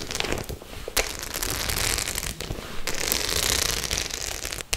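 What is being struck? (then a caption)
Studded faux leather clutch bag. Long nails scratch and tap across the studs of a white studded faux-leather clutch held in both hands. The sound is a dense, bright, crackling scrape that swells and fades, broken by a few sharp clicking taps.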